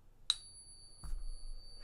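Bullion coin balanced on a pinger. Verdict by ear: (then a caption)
Real. A silver or gold bullion coin is struck once in a pocket pinger, giving a pure, high, tuning-fork-like tone that rings steadily for the rest of the clip. A dull low knock and rumble come in about a second later beneath the ringing. The long, clean ring marks the coin as genuine precious metal.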